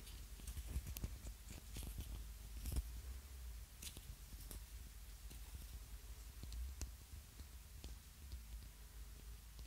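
A small, hollow, ribbed yellow plastic egg-shaped lip balm container is held close to the mic and tapped and scratched with fingernails. Quiet, dry clicks and brief bright scratches sound over a steady low rumble, each tap dying away almost at once.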